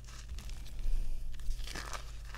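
Bare hands squeeze and crumble solid chunks of pink-tinted white gym chalk (magnesium carbonate) in the palms over a pile of chalk powder. Soft, dry crunching and crinkling crackles rise and fall over a steady low hum. The chunks break down into crumbs.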